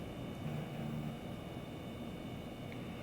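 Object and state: Nothing is struck.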